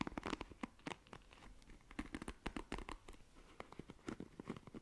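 Long nails scratch the plastic bristles of a black plastic paddle hairbrush, making a quick run of dry, crackling scrapes and clicks. The sound is crisp and close, with short bursts and no ringing tail.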